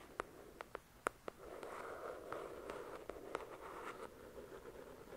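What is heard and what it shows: Long, pointed dark red nails tap a few times on the glossy card cover of the paperback novel "The Shack," which has solid paper pages and lies flat on a fluffy white cloth. The crisp, quiet taps then give way to a steady, hissing scratch across the cover, broken by occasional sharp clicks.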